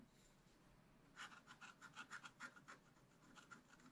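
A wooden stylus scratches leaves and details into a thin black-coated scratch-art card in a spiral book lying flat. After about a second of faint hiss, a quick run of short, bright scratching strokes carries a thin whistly tone around 1.4 kHz, then gives way to softer, sparser scrapes.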